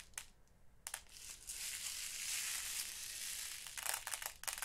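Fingers dig into and sift loose purple and blue glass seed beads in a small clear plastic storage box, rubbing them against each other and the plastic walls. A few sharp clicks open the clip, then a sustained bright, hissing rustle of grinding beads builds and holds before breaking into more scattered clicks near the end.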